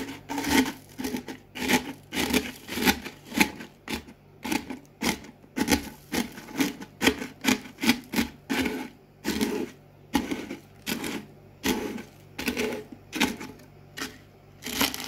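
A cardboard Pringles can held in the hand presses down on a pile of broken potato chip pieces on a white table, crushing them. Short, dry, bright crackling crunches repeat in quick bursts with brief pauses between, over a faint steady low hum.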